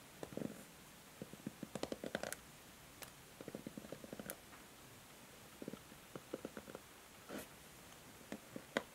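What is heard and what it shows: Long nails scratch and strum across the plastic pins of a pink and white plastic paddle hair brush held in the hand. Quiet bursts of quick, dry plastic clicks and ticks come in uneven clusters with short pauses between them, and some strokes add a brief bright scratchy rasp. Each click dies away almost at once against a faint steady hiss.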